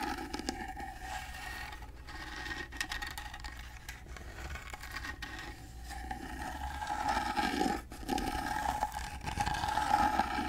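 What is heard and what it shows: Fingernails scratch across the carved face of a gold-painted carved wooden box held upright beside the mic. They make a steady, dry rasping with a faint ringing tone and a low hum underneath. The scratching grows louder in the last few seconds, with a brief pause just before the end.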